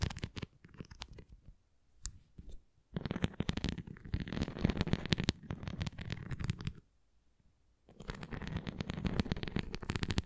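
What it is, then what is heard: Plastic flying disc. A red plastic flying disc toy is held flat while long nails tap and scratch along its rim, giving dense, rapid clicking and scratching that stays mostly low with some bright edges. The sound comes in bursts with quiet pauses around two seconds and near seven seconds.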